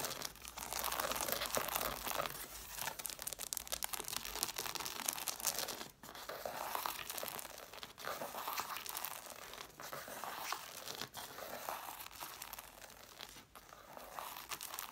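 Long nails scratch along the page edges of an angled stack of red cloth-bound hardcover books with solid paper. The result is a dense, continuous, bright rasping and crinkling texture with brief quiet gaps every few seconds.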